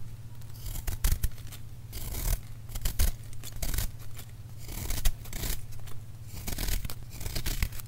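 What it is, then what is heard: Gym chalk block being scraped. A small metal knife scrapes and cuts into a solid, palm-sized white block of plain gym chalk (magnesium carbonate), gripped by fingertips with painted nails over a bowl of crushed chalk, so the chalk crumbles off. Repeated dry, crunchy scraping bursts with bright crackly edges sound over a steady low hum.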